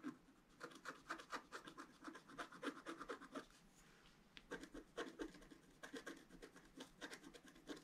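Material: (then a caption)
Coated card. A wooden stylus scratches short strokes across the lower right flower area of a flat black-coated scratch art card. Quiet, dry scratching comes in quick rhythmic bursts with a brief pause in the middle, each stroke a soft raspy scrape with no ring.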